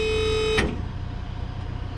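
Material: Nothing is struck.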